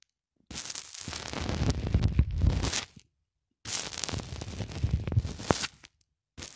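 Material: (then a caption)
Polyethylene foam. Fingertips press a small black plastic cylinder over and over into a thick white polyethylene foam block resting on a cloth. The foam gives dense, crunchy squeaks and pops in two long stretches separated by short silences, with a low body and bright crackling edges.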